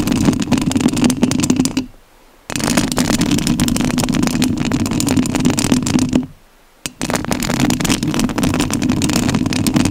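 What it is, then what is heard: Metal mesh microphone grille. Long nails scratch the metal mesh grille of a rhinestone-covered studio microphone, making a dense, rasping scrape with a low, humming body around 250 Hz and bright edges. The scratching stops briefly twice, near 2 seconds and again near 6.5 seconds, then resumes each time.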